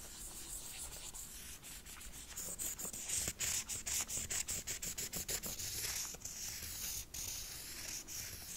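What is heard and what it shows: A wooden stick is rubbed and scratched across the bumpy surface of a red textured faux ostrich leather wallet. It makes a bright, dry, papery rubbing. From about the middle it breaks into a quick, uneven run of short crisp scratches and ticks that fade back into softer rubbing at the end.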